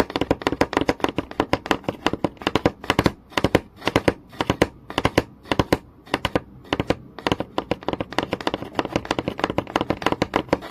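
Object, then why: Wooden board. Fingertips and nails tap fast on a flat, solid wooden board with visible grain, seen close up. The result is a dense run of short, dry, mid-pitched taps with almost no ring, slowing into sparser, sharper bursts in the middle before returning to a rapid flurry.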